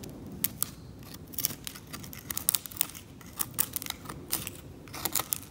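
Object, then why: Varnished oil painting surface scraped with a metal scalpel. A metal scalpel continuously scrapes the varnish off a varnished oil painting along the cleaned boundary, lifting visible varnish flakes. Quiet, dry, bright scratchy clicks and short rasps come in uneven bursts over a low, steady background hiss, each tick dying away almost instantly.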